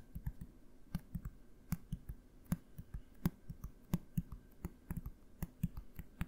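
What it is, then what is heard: Plastic bottle tapped. A medium blue plastic bottle with a cap, held upright near the mic, is tapped with fingertips in a quick, uneven series. Each tap gives a short, dull, low knock with a faint click on top, dying away almost at once, over a quiet background.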